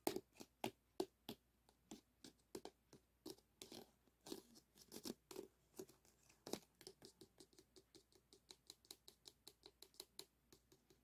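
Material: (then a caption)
Aluminum foil. Two wooden sticks tap and scrape the wire ribs of an arched, hollow aluminum foil flexible duct resting on a mat. About 40 quick, dry, crinkly taps come in an uneven patter, with a hollow tone around 320 Hz and bright foil rustle. Each hit dies away almost at once.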